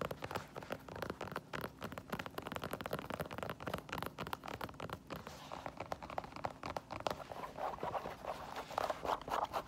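Long nails tap and scratch on the heel of an empty white synthetic leather sneaker, then move to the side stripes of the synthetic upper. The result is a rapid, steady stream of dry, clicky taps mixed with soft scratching, each tap stopping short with no ring. Toward the end the scratching grows brighter and slightly louder.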